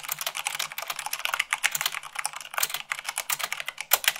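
Fast typing with fingertips and long nails on the white plastic keycaps of a black plastic mechanical keyboard produces a dense, rapid stream of bright, crisp clicks and clacks. The keystrokes blur together with little pause, some landing harder than others, and each one stops short with almost no ring.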